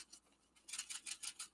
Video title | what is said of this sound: Springtime Wishes Deco Large Easter Bunny | you can hear the little beads shaking